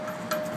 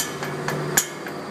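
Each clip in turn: First: tight exhaust heat shield. Second: loose exhaust heat shield.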